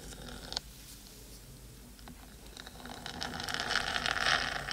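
Long acrylic nails on both hands scratch rapidly across the top of a hollow black metal cylindrical 3Dio binaural microphone housing. The result is a busy, bright scratching and rustling with a sharp click near the start. The scratching grows louder and denser toward the end.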